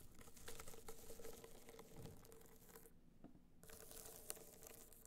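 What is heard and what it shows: Long nails tap and scratch a small, rigid, hollow gold hard-shell box clutch held upright, its gold metallic covering dotted with raised bumps. Dense, crinkly scratching and quick light taps rattle over a faint steady hum near 440 Hz. The bright scratching briefly drops away before resuming, with one sharp tap near the end.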